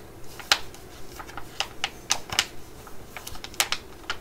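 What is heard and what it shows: A laminated plastic pouch with a tub of mugwort pads inside is held in the hands and tapped and scratched with long nails. Sharp, bright clicks and taps come in an irregular string with soft scratchy rustling between them, each hit dying away almost instantly.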